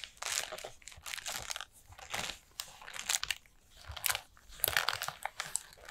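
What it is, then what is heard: Paper lantern. Long nails tap and scratch the paper rings of a collapsed orange pleated paper lantern with a black plastic battery base. The result is bright, crunchy crinkling and rustling that comes in repeated bursts with short quiet gaps between them.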